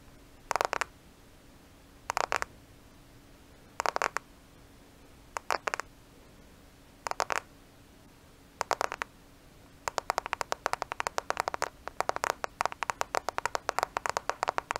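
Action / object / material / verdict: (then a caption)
tap / smartphone with glass screen and plastic case / glass, plastic / none. Long nails tap and scratch a black smartphone with a glass screen and plastic case, held in both hands close to the microphone. Six short bursts of crisp, dry clicking come at regular gaps, then the tapping turns into a rapid, continuous run of bright, quick clicks. A faint steady low hum sits underneath throughout.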